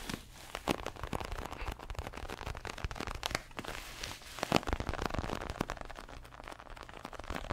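A large, stuffed red padded boxing glove of synthetic leather is tapped and scratched with fingernails. Many quick, dry taps and crackly scratches come through over a low rumble, each snap ending almost instantly.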